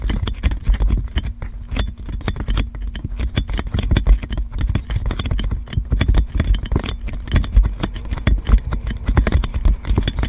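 Long nails scratch and tap clear plastic cling film wrapped around a metal microphone. The result is a dense, continuous run of crinkly scrapes and quick taps, with heavy low thumps and a faint steady low hum underneath.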